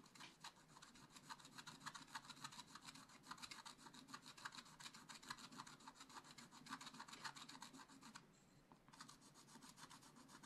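A wooden stylus scratches repeatedly over the monkey area of a black-coated scratch-art page, a flat sheet in a spiral-bound book. It makes rapid, fairly uneven back-and-forth rasping strokes with a bright, papery scrape. After a brief pause near the eight-second mark, the scratching resumes.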